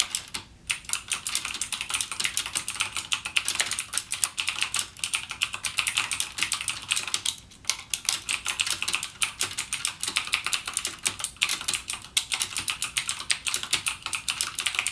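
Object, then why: Plastic mechanical keyboard with clicky switches. Fingertips type continuously on a backlit mechanical gaming keyboard with plastic keycaps and clicky Cherry MX Blue switches. The result is a steady, rapid stream of sharp, bright clicks that die away almost instantly, with brief pauses near the start and around the middle.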